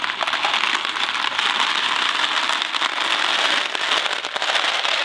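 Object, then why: Cardboard box of dry pasta. A Kraft macaroni and cheese cardboard box full of dry pasta is held by the fingers, flipped and shaken. The pasta rattles inside in a dense, continuous crackling rush, bright and steady for the whole clip with no low end.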